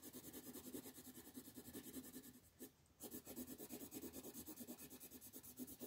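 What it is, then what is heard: Paper sheet being shaded with pencil. A red colored pencil shades large areas of a flat paper coloring sheet on a table with quick, repeated rubbing strokes. It makes a steady, dry, raspy scratching with a bright papery hiss, briefly pausing near the middle before the strokes resume at the same pace.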